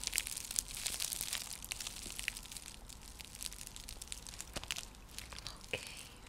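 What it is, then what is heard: Woven seagrass coaster. Long nails scratch across a round, flat, coiled woven seagrass (straw) coaster used as a trivet. The result is a soft, dry, crinkly scratching made of many quick, bright rasps and light crackles, with a few sharper clicks along the way and almost no low end.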